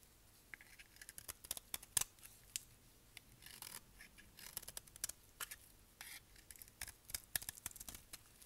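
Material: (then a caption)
Soap. A solid, dry brown bar of soap held in the hand is shaved with a utility knife blade. The cuts produce a quiet, irregular series of crisp, bright scraping clicks and short rasps, each dying away almost instantly, with little low end.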